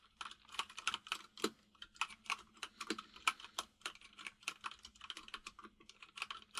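Both hands type rapidly with the fingertips on a white full-size mechanical keyboard with plastic keycaps resting on a desk. About thirty sharp, bright clicks sound in a quick, uneven run, each dying away almost instantly over a faint steady hum.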